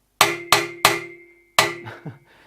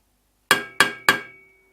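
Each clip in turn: First: stainless steel exhaust manifold, thin and rigid. Second: mild steel exhaust manifold.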